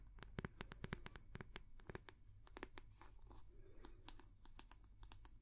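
Long manicured nails tap and scratch the back of the solid wooden head of a round, bamboo-like wooden paddle hair brush with a cord loop, held close to the mic. Rapid, sharp, dry clicks and brief scratchy strokes ring bright over a steady low hum, with each tap dying away almost instantly.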